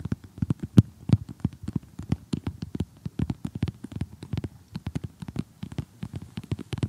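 Fingernails tap and scratch across the piece edges of an assembled glossy cardboard jigsaw puzzle lying flat. The result is a quick, irregular run of dozens of short, dull clicks that are heavy in the low end and die away almost instantly, with faint scratchy texture between them.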